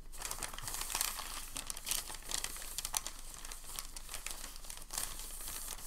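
Hands lift and fold the edges of a folded sheet of thin packing paper resting on a table. The paper gives a steady, bright crinkling with sharp rustling bursts over a faint low rumble.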